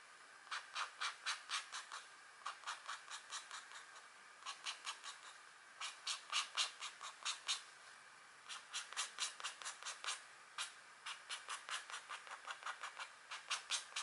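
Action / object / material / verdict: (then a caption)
scrape / coated scratch art paper sheet / coated paper / none. A green stylus tip scratches across a thin scratch art sheet, a black coating over a metallic layer with a deer image, while a long-nailed hand rests on the sheet. About 45 quick, dry, bright scratching strokes come in rhythmic bursts separated by short pauses, with no low-end weight.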